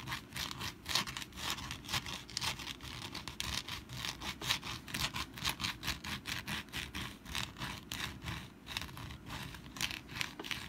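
Long black nails scratch the textured surface of a rust-brown papier-mâché pumpkin decoration that rests on a mat and is held in the hands. The sound is a steady run of quick, rhythmic, bright scratching strokes, dry and papery, with little low end and a faint low rumble underneath.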